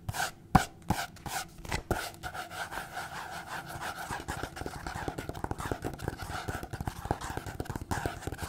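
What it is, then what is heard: Paper notepad. Long painted fingernails tap and scratch a small printed paper notepad, a solid stack of sheets held in the hand. A few sharp, separate taps come first, then a fast, irregular run of dry papery scratches and quick clicks with a dull mid-range tone and almost no ring.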